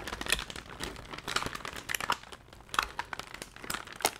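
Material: Paper.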